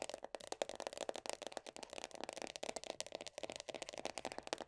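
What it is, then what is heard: Plastic body butter tub lid. Long nails tap quickly on the black, printed lid of a medium round plastic body butter tub. The result is a dense run of short, dry clicks and rattly ticks with a slight hollow tone around 580 Hz, bright highs and almost no low end.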